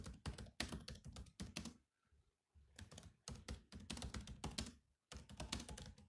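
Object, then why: Plastic laptop keyboard keys. Fingertips type on the black plastic keys of a grey laptop, making quick clicky taps with a low thump beneath. The typing comes in bursts, with a short pause near the two-second mark and another just after five seconds.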